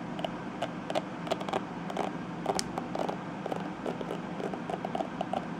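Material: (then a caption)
Plastic. Long nails and fingertips scratch and flick across the tips of the dense purple plastic bristles on a small detangling hairbrush. A quick run of dry, clicky plastic ticks and scratchy patters with a mid-range tone and bright edges sits over a steady low background hum.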